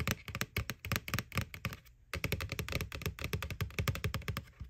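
Fingernails tap rapidly and irregularly on the front wall of a white, hollow plastic McDonald's McBoo Halloween bucket. Each tap is a short click with a hollow, low thump and a bright edge, dying away almost instantly. The tapping pauses briefly around the two-second mark and then carries on.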